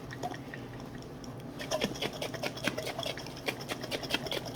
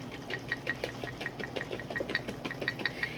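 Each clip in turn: First: Quiet at first, then a quick irregular slosh and clack as a jar of butter and buttermilk is shaken. Second: Rapid rhythmic shaking of a lidded glass jar, bright clicks near 2 kHz over a wet slosh of liquid cream.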